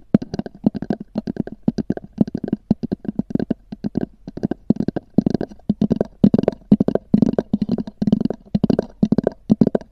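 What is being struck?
Small hard-shell EVA zip case.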